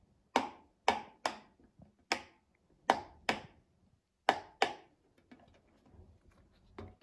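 A child presses the hollow bubbles of a rectangular rainbow silicone pop-it fidget toy with a mint-green base using her fingertips. Eight sharp, bright pops with a hollow tone sound at irregular intervals, each decaying quickly, while fainter soft clicks and rustles fill the gaps near the end.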